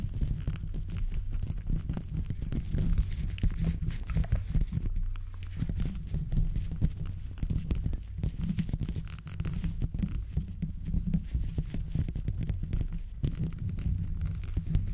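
Gloved hands wearing black-and-grey textured gloves scratch and rub over the hollow steel mesh grille of a fist-sized silver condenser microphone in the Blue Yeti style. The fingertips make a steady stream of dense, short scratching and rubbing strokes, heard as a deep, thudding rumble centered around 60 Hz with almost no high content.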